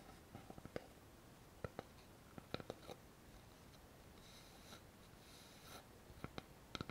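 Long fingernails tap and scratch a thin, flat, solid light-wood board with a notched edge. Quiet, short, dry clicks come in scattered clusters over a soft, brushing scratch. A brighter, hissier scraping rises in the middle of the clip.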